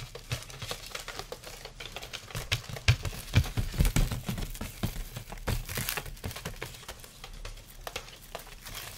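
A light carved sandalwood folding fan is held open while its thin slats are tapped and scratched with fingertips and nails. The result is a close, dry, irregular patter of soft clicks and crinkly scratches, with low thumps underneath and brief bright ticks on top.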